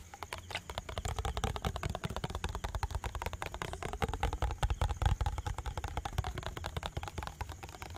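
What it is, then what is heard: Plastic bottle with liquid. A clear plastic bottle with liquid, held sideways close to the mic, is fast-tapped with fingernails for about eight seconds. The result is a dense, uneven stream of short, sharp clicks over a thick, low, hollow thump from the liquid-filled body.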